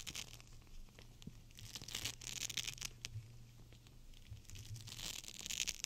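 A clear plastic gel bead cold/hot pack, full of beads, is bent and squeezed in the hands. It makes a bright, crinkly crackling with quick sharp clicks over a faint steady low hum. The crackling swells and fades in bursts across the clip.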